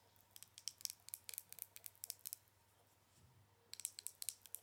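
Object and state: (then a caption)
Plastic powder jar tapped with nails. Long nails tap and scratch the plastic lid and sides of a small, round, clear plastic jar full of loose powder. About eighteen quick, bright, dry clicks come in close runs, pause for under a second, then resume. The sound is quiet and crisp, with almost no low end.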